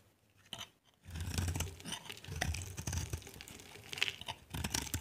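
A small metal blade scrapes and carves flakes off a solid, dry, palm-sized orange soap bar with an embossed logo, held in a hand with red nails. After a near-silent first second with a faint tick, a steady crunchy, rasping scrape runs to the end, with a low rumble underneath and bright crackles, briefly easing just before the last half-second.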